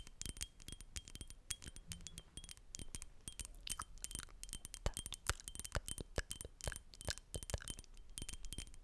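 Long nails tap rapidly and irregularly on a partly full, rectangular glass perfume bottle with a black cap. The result is many short, bright clicks with a faint high glassy ring and a steady tone near 3 kHz, over a quiet low rumble.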